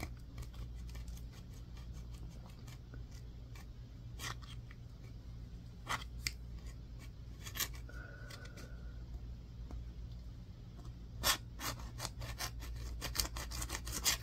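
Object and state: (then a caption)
Bar soap being scratched. A solid green bar of soap with a scraped, powdery surface is scratched with a yellow-tined, wooden-handled tool. Crisp, bright scraping clicks come in quick bursts, each dying away almost instantly, over a steady low hum. Near the middle a faint tone briefly sounds.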